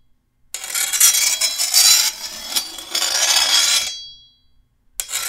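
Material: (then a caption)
Steel. A hand-held metal file is drawn along the edge of a long, solid steel machete blade, making a harsh, bright, rasping scrape with almost no low end. The filing runs in surging strokes for about three and a half seconds, then a thin high metallic ring fades out. After a brief silence, another stroke begins.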